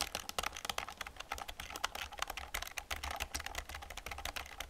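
Fingers type and fingernails tap on the keys of an old black plastic computer keyboard, giving a rapid, irregular run of short, bright plastic clicks. Each click dies away almost instantly over a faint, steady low hum.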